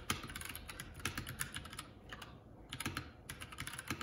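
Fingertips of both hands type continuously on a Keycool K84 75% mechanical keyboard with plastic keycaps. The result is a rapid stream of short, bright clacks with a thin low thud under each, easing briefly into a lighter patter near the middle before the typing picks back up.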